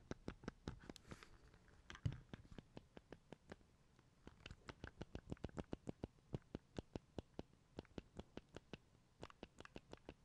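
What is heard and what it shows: Fingertips press and click the buttons of an opened, small, hollow black plastic Game Boy Advance SP resting on a table and tap its casing, while a red console sits nearby untouched. About fifty quiet, short, dry clicks and taps come in a steady rapid run, with a brief lull near the middle. The sound is low-weighted with little high content.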